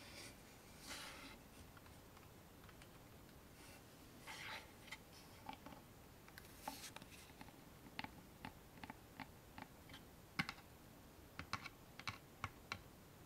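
A small, hollow, dark-stained wooden box with a metal latch is held in one hand and tapped on its sides and lid with fingertips and nails. Soft brushing swishes give way to a series of quiet, sharp, dry clicks and taps that stop almost instantly.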